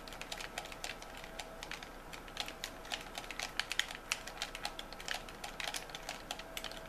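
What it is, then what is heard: Plastic game controller. Thumbs and fingertips click the buttons of a white plastic game controller, which ends up held in one hand. It makes a quick, steady run of short, bright plastic clicks, each dying away almost instantly, over a faint constant tone.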